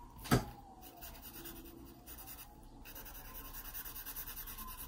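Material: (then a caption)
Paper. A graphite pencil makes shading strokes on the page of an open paper sketchbook. A single sharp tap or scratch is followed by steady soft rubbing and scratching of the lead across the paper. The strokes keep a low, even texture that rises slightly toward the end.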